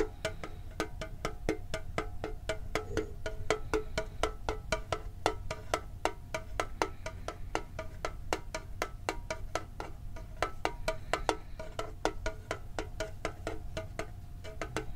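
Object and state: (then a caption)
Metal card tin. Fingertips and nails tap a hollow red and blue printed metal Pokemon card tin with its lid on, producing a fast, steady run of short, dry clicks. Each tap has a brief hollow tone around 440 Hz that dies away almost instantly, over a constant low rumble.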